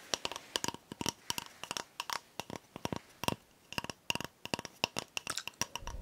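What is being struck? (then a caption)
Cardboard toilet paper tube. An empty, hollow brown cardboard toilet paper core is held in the hands and tapped and scratched along its length with long nails. About 30 short, dry clicks and taps come in quick irregular bursts. They have a bright, hollow ring around 950 Hz and little low end, with faint scraping between them.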